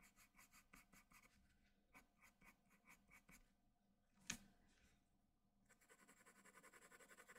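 A hand-held graphite pencil scratches and shades the eye area of a portrait on a large, flat sheet of white drawing paper. Quick rhythmic bursts of bright, papery strokes come in clusters, broken by a single sharp tap partway through, before faster, denser shading strokes resume.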